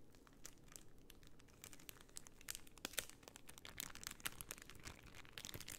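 A flat sheet of white plastic half-pearl stickers inside a clear plastic bag is bent and crinkled by hand, with long nails scratching across the bag. It makes a quiet, steady stream of dense crinkling with many sharp, bright crackles and clicks over a soft, low rustle. It grows slightly busier toward the end.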